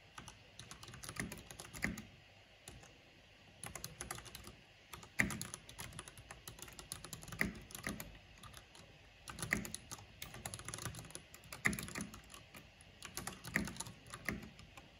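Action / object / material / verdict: tap / plastic mechanical keyboard / plastic / none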